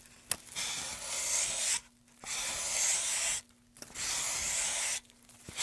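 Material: Pine wood.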